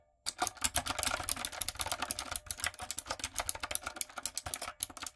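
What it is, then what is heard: Mechanical keyboard with plastic keycaps. Long nails and fingertips type on a retro typewriter-style backlit mechanical keyboard with round plastic keycaps. Rapid, bright plastic clicks and clacks run almost continuously after a brief silent start, with short pauses between bursts. Each keystroke is crisp and dies away almost instantly.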